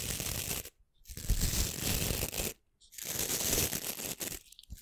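Long nails scratch and flick across the stiff nylon bristles of a small, solid, hand-sized white plastic scrub brush held close to the mic. Three harsh, rough bursts of dense bristly scratching, broad from low rumble to bright hiss, are separated by short silences.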